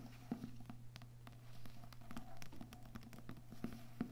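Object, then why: Books with paper and cardboard covers. Books with paper and cardboard covers are tapped softly with the fingers, without talking. Quick, dull, low-pitched taps come in an irregular patter and die away almost at once, over a faint steady low hum.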